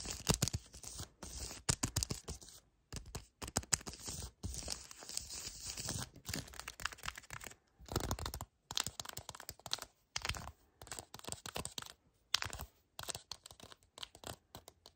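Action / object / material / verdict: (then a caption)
scrape / cardboard chocolate bar box / cardboard / none. A full yellow cardboard chocolate bar box is scratched along its edge and surface with fingernails, then gripped with both hands. Quick bursts of dry, bright scratching and crinkling come in rapid, uneven clusters separated by brief silences.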